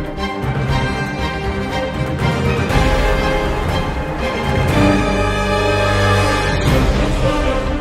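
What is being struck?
Nothing is struck.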